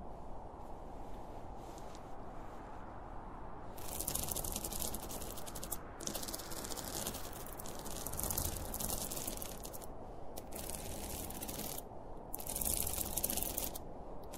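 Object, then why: Polyester fabric pencil case. Fingernails scratch the top and front of a closed, hollow, zippered school pencil case made of polyester fabric with a printed cartoon panel. Dense, bright, hissy scratching comes in long bursts with short pauses between them, over a steady low rumble.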